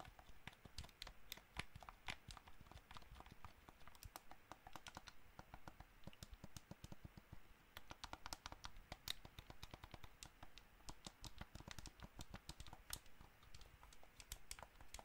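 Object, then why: Plastic game controller. Fingertips tap and click the buttons and touchpad of a hollow white plastic gamepad held close to the mic. The result is a steady stream of quick, dry plastic clicks with bright, sharp edges over a soft low thump, each click stopping almost at once.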